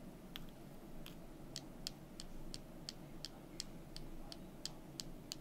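Two small, solid, painted wooden calendar number cubes are held in the fingers, with long nails touching them, and knocked together. Fourteen short, dry, bright clicks ring out at a steady pace over a low, constant background hum. Each click dies away almost instantly.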